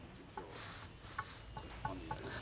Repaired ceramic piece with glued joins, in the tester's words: it's got a very Hollow sound and that leads me to think that these joins are pretty fragile it's not sound at all